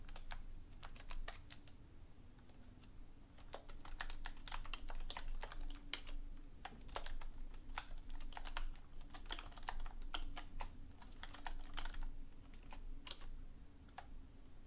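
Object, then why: Plastic computer keyboard. A black plastic computer keyboard on a wooden desk is typed on continuously with both hands, using fingertips with long painted nails; a nearby book is not touched. Quiet, irregular, bright clicky key taps run throughout over a steady low hum, each tap short and dry.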